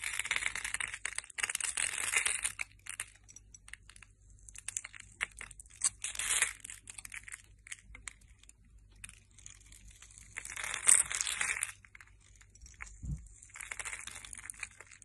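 A utility knife blade cuts into a palm-sized, solid translucent yellow glycerin soap bar held in the hand, scoring it in a grid and shaving off small cubes. Crisp, bright scraping and crunching come in dense bursts separated by quieter pauses, with a single soft low thump near the end.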